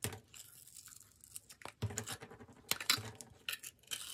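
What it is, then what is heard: Bar soap being sliced. A solid yellow bar of soap with glittery edges is held in the hand and sliced into thin layers with a metal utility-knife blade, with yellow soap curls piling up on a wooden table. Each cut gives a quiet, crisp, crinkly scrape that is mostly high and bright. The strokes come in short, irregular bursts with very little ring.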